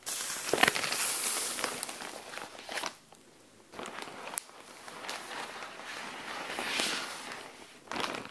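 A flat SHEIN zip bag of semi-clear plastic with folded fabric inside lies on a tile floor while long dark-painted nails scratch and rub its surface. Bright, papery crinkling and scratchy rustling come in uneven bursts with short, sharp clicks, broken by a brief quiet pause near the middle. The sound is thin, with almost no low end.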